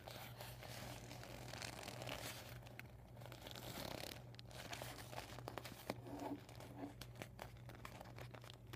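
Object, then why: Vinyl beach ball. Fingertips with medium-length painted nails scratch, pinch and crinkle the thin plastic of a deflated, flattened vinyl beach ball with white, red, yellow and blue panels covered in marker writing, lying on a surface. A quiet, steady stream of soft crinkles, rustles and brief scratchy ticks plays over a constant low hum.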